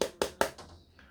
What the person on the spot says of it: with the transparent one you've got a very hard plastic you can hear it when i tapping it